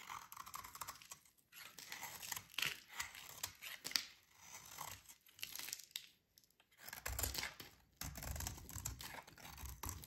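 A solid, dry pink rectangular soap bar is held in the hands while a metal utility blade carves and scrapes chunks and shavings from it. The clip is a quiet run of bright, crumbly scraping and tearing sounds broken by short pauses, with some lower rumbling handling noise in the later part.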